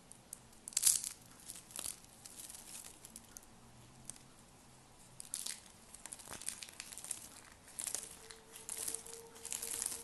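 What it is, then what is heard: Dry soap flakes crumbling. Thin, brittle pastel dry soap shavings are crumbled and crunched between lavender-nailed fingertips over a heap of soap flakes. Dry, bright crinkling and crunching comes in bursts, with a sharp crackle near the start and clusters of crisp snaps later. The sound is mostly high and airy, with almost no low end.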